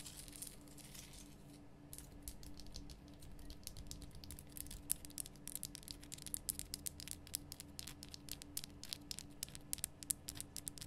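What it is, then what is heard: Himalayan rock salt lamp. Long nails rapidly tap and scratch across the solid, rough surface of a large, lit, pink Himalayan rock salt lamp. The result is a quiet stream of crisp, bright clicks and dry scratching that grows busier after the first couple of seconds, over a faint, steady low hum.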